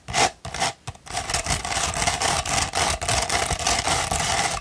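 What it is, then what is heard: Sandpaper sheet. A sheet of coarse No. 150 sandpaper, rolled into a thin hollow tube, is scratched with long pointed red nails. A couple of short gritty rasps are followed by nearly continuous bright, scratchy rubbing with a faint hollow tone around 730 Hz.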